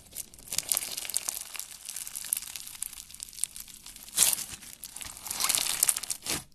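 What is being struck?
Slime mixed with plastic fishbowl beads.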